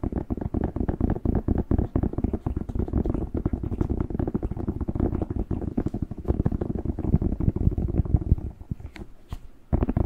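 A whole, fresh, hollow, hand-sized red bell pepper is held in both hands close to the mic while fingertips tap and squeeze its skin. The result is a dense stream of quick, dull, low thumps and soft squeaky presses with almost no brightness. The tapping eases off to a quieter patch near the end before a last loud burst.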